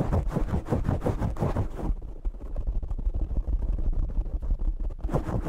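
Both hands scratch and squeeze the black foam windscreen on a desktop microphone with fingertips and short nails. The result is a dense, rapid run of boomy, low-heavy rustling and scratching. It sounds brighter and harsher for the first two seconds and again at the end, and more muffled and subdued in between.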